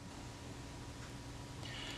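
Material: Nothing is struck.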